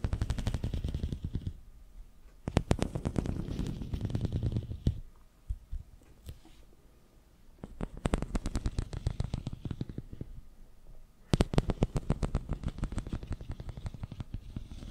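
Fingertips scratch rapidly across the ridges of a long, hollow, ribbed pink corrugated plastic tube held horizontally in front of the microphone. The result is a dense, low rattling of quick clicks. It comes in bursts separated by quieter pauses.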